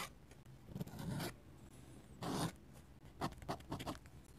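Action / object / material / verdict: scrape / steel pen nib on paper sketchbook page / paper / none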